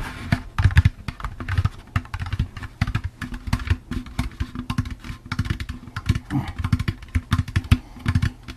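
A hollow, empty orange plastic jack-o'-lantern candy bucket with a handle is tapped and scratched with fingertips and nails while being turned in the hands. Quick, irregular runs of dull, hollow taps with a low, boomy body and very short decay mix with faint scratchy rustling throughout.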